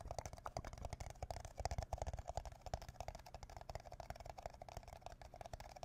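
An empty red plastic party cup, hollow and thin-walled, is held upside down above the microphone with both hands and tapped with the fingertips and nails. The taps come in a quick, uneven flurry of short, dry, hollow knocks with a deep thump underneath and a mid-range plastic tone. Each tap dies away almost at once.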